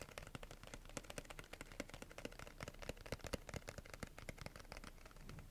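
Long nails tap and scratch across the surface of a small, flat, pink printed cardboard box held upright. The result is a quick, irregular stream of dry, crisp clicks and scrapes with almost no ring, sitting low-mid with a papery hollow tone and bright edges.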